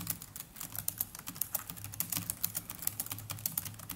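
Fingertips of both hands type continuously on the black plastic chiclet keys of a small black netbook keyboard. A quick, steady stream of short, bright plastic clicks and taps runs over a faint, steady low hum.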